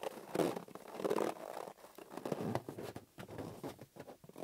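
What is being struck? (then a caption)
Inflated latex rubber balloon. Fingertips and palms squeeze and rub a green, hollow, hand-sized inflated latex balloon held on a table. The result is a run of squeaky, scratchy rubber-friction bursts centred in the mid range, with louder smears early on and shorter, drier squeaks toward the end.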